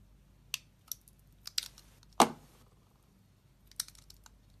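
A solid oval pale blue Dove-type bar of soap, held in the hand, is carved into flakes with a metal utility knife blade. Short, crisp, bright scraping clicks come from several separate cuts. The loudest cut, near the middle, leaves a brief crumbly rasp as the flake falls away.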